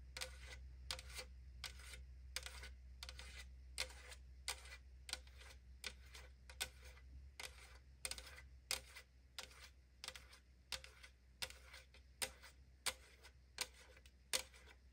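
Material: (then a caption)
Aluminum. Long nails tap and scratch the printed side of a tall 500 ml aluminum drink can held in the hand. The hollow, thin metal gives a steady series of quiet, sharp, bright clicks with a brief ring. A low steady hum runs underneath.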